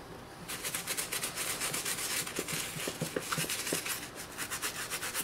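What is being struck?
Leather high-top sneaker scrubbed with a toothbrush.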